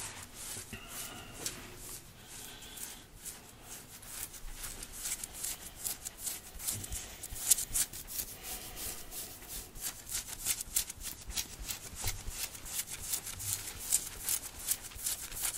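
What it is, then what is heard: Cotton t-shirt being scratched. Fingertips and nails of both hands scratch and rub the printed fabric of a red cotton t-shirt worn on the chest. Fast, dense, bright scratching and rubbing strokes produce a crisp high-pitched hiss with little low end, growing busier and slightly louder toward the end.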